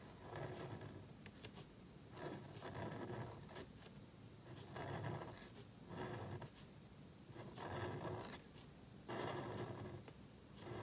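A calligraphy pen nib scratches across a small, thin black cardstock card lying flat on a table as it writes. The result is dry, raspy scraping in repeated bursts of strokes, separated by brief quieter pauses.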